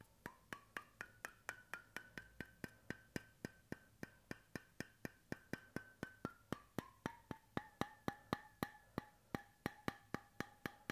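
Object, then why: Bamboo cap on a stainless steel bottle. Fingertips tap the flat bamboo cap of a stainless steel bottle held sideways, producing 42 short, dry wooden knocks at a steady, even pace. Each tap carries a faint hollow pitched ring that rises and settles, then drops lower toward the end.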